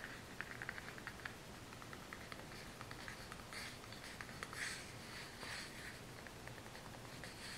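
A small brown kraft cardboard box is turned in the hand while long nails tap and scratch across its faces. Soft, quick taps with a papery ring near 2 kHz sit over a bright, dry scratching hiss, all at a low, steady level.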